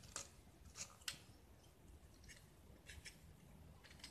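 A small, solid white gypsum block with a purple painted surface is held in the hand and scraped with a metal utility knife blade, peeling off curls of plaster. Quiet, short, bright scraping strokes crackle over a soft low rumble, each one dry and dying away almost at once.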